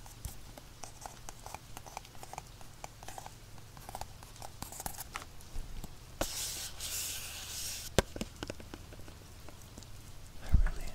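Fingertips tap and scratch the front and sides of a small, hollow, black printed cardboard retail box for earphones held in both hands. Quick, soft, dry taps repeat over a low background hum, broken midway by a couple of seconds of bright, hissy scratching and a sharp knock. A louder rustling bump comes near the end.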